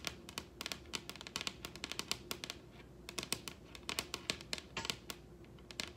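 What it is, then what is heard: Wooden table top tapped with fingernails. Long red nails on both hands tap rapidly across a large solid wooden table top, producing about thirty crisp, bright, dry clicks in an irregular flurry. Each tap dies away almost instantly over a faint, steady low hum.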